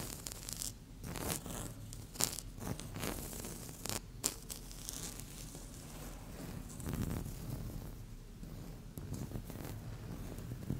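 Long fingernail tips scratch a flat, solid, speckled beige laminate tabletop in short strokes. The result is a steady run of dry, bright scratching rasps over a low rumble, with a few sharper, louder scrapes standing out.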